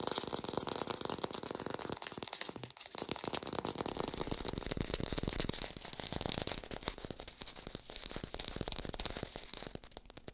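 A hand-sized artificial green apple with a stem, held close to the mic, is fast-tapped and scratched with long pink acrylic nails. The result is a dense, continuous stream of crisp clicks and scratchy crinkling with a bright, airy top. A brief quieter dip comes near the three-second mark.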